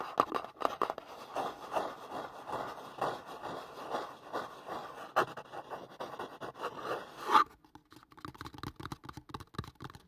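Fingertips and nails tap and scratch a hollow kraft cardboard product box held above the mic, making a dense, dry rustle of quick scratches and soft midrange taps. A sharp, louder tap lands near the seven-second mark, after which the sound turns quieter and sparser, with lighter, scattered taps until the end.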